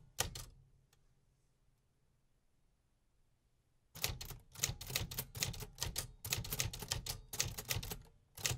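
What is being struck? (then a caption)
Metal manual typewriter keys. Fingertips strike the metal keys of a vintage 1950s manual typewriter, giving a couple of sharp clacks at the start, then a few seconds of near silence. A quicker, irregular run of bright, crisp keystrikes with a low mechanical thump follows, ending in a brief pause and one last strike.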